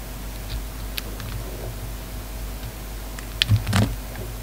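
A solid pink bar of soap with remnants of a red coating is held in the fingers and shaved with a utility knife blade, giving soft, quiet scraping and carving sounds. A few sharp clicks stand out, and near the end there is a louder cluster of scrapes.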